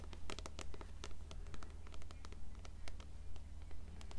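Long nails scratch the cover and page edges of an upright, closed blue paperback copy of Coraline in steady, rhythmic strokes. Each stroke is a dry, papery rasp with bright upper edges, over a constant low hum.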